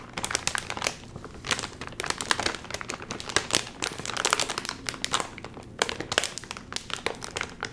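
A full, sealed red and white metallized plastic chip bag rests on a lap while fingertips pinch and pull at its top seal. It gives dense, bright crinkling in bursts with short quieter gaps, with almost no low end and no ring after each crackle.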